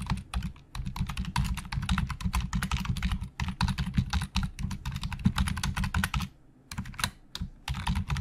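Fingertips of both hands type very fast on the hollow plastic keys of a black plastic Logitech full-size keyboard resting on a desk. A dense, rapid stream of short clacks with a low, hollow thump and bright click tips runs throughout. It briefly pauses around three and a half seconds and again just after six seconds, then resumes.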